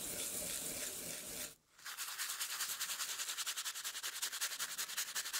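A small brush in a gloved hand scrubs the wet, foamy surface of the flat, solid wooden base board from a rare 1908 typewriter, which has screw holes and lies on paper. A continuous bright, hissing scrub breaks into a brief silence, then resumes as quick, rhythmic back-and-forth strokes with a crisp, high, sandpaper-like texture.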